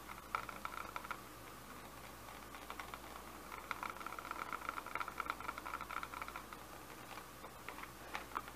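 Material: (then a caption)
Plastic. Fingertips and short nails tap a medium-size Bissell handheld vacuum's hollow, empty-looking clear and grey plastic dust canister held in the hands. Quick, light plastic clicks come in clusters with a hollow ring near 1.3 kHz, over a steady low hiss. The taps are soft and die away almost at once.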